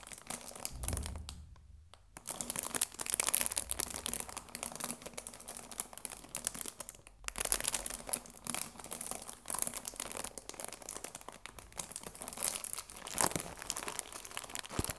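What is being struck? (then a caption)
Cellophane-wrapped cardboard tea box. A cardboard tea box wrapped in cellophane is rubbed and crinkled by fingers, producing a steady stream of bright, crackling plastic crinkles. A short quiet gap falls near the start and another around the seven-second mark.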